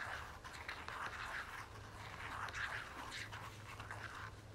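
Long fingernails tap and scratch the flat face of a red and gold soft plastic lotion tube held upright. The result is a steady run of soft, crinkly taps and scratchy rustles in the mid range, with bright edges and a faint low hum underneath.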